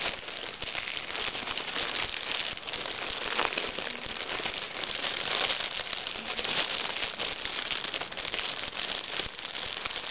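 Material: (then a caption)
Plastic film. A hand with painted nails crumples a thin, clear plastic shrink-wrap film taken off a magazine, which lies untouched on the table below. The result is a dense, continuous crinkling and crackling that stays bright and high with almost no low end, running steadily for about ten seconds.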